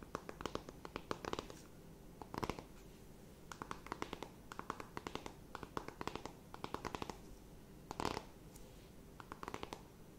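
Long nails tap and scratch a closed, flat rectangular cardboard eyeshadow palette. Quiet, dry clicks come in quick bursts, broken up by brighter scratchy swipes. Each tick dies away almost at once, with a papery ring near 1 kHz.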